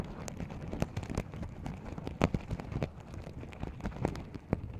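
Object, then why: Sequin-covered fabric pouch. Fingernails scratch across and flip the sequins on a small, open, empty sequin-covered fabric pouch. The result is a dense, irregular run of soft, quick clicks and rustles. The sound is mostly low and muffled, with a few sharper flicks standing out.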